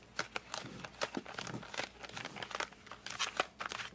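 A flat cardboard colored pencil box is gripped at its edges with fingertips, up close, then tilted and turned. Dense, bright crinkling and scratchy squeaks come in quick bursts, each dying away almost at once, with little low end.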